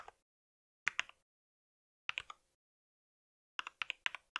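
Fingertips of both hands type on a compact white mechanical keyboard with plastic keycaps and a solid body. There are 13 short, bright, clicky key taps in small bursts separated by silent pauses. Each tap stops dead with almost no ring.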